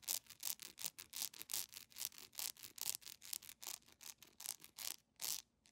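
Long nails rapidly scratch across the textured surface of a solid, yellow, honeycomb-patterned beeswax candle held in one hand. About 30 quick, bright, hissing scrape strokes follow one another at an uneven pace, with almost no low end and no ring after each stroke.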